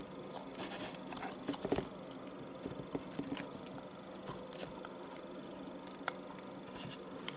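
A knife repeatedly shaves the top edge of a solid rectangular yellow bar of household soap, and the flakes fall into a tub. Quiet, dry scraping and crisp cutting ticks with a bright, high edge repeat steadily through the clip with almost no ring, a few strokes louder than the rest.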